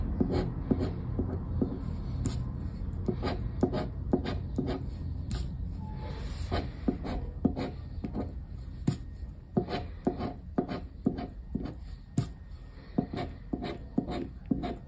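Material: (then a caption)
Paper. A black plastic disc scraper scratches the latex coating off the symbol grid of a thin paper lottery scratch card lying flat on wood. Short, dry, rasping strokes repeat at an irregular pace of about two per second, each with a bright edge and almost no ring, over a steady low rumble.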